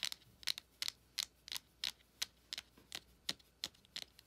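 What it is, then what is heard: Cardboard eyeshadow palette tapped with nails. Long acrylic nails tap and scratch the front of a closed, small, flat printed cardboard ColourPop eyeshadow palette held in hand. Fourteen quick, dry, bright clicks with brief scratchy tails land at an uneven pace of about three per second. They have almost no low end and no ring, and the clip is quiet between them.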